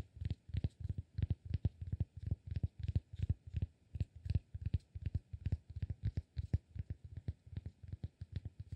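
Fingertips tap and scratch the face of a palm-sized, solid cork block. The result is a steady stream of soft, dull, low thuds with a faint scratchy texture on top, each stopping almost instantly with no ring.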